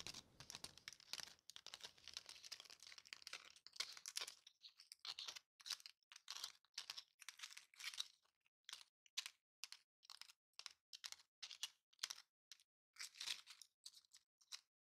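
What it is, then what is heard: Foam gift bow. A large, light, thin purple glitter foam gift bow is held in the hands and scratched and tapped with long painted nails. About four seconds of dense, bright crackling scratches give way to a string of short, separate crisp scrapes and taps, all high-pitched with no low end.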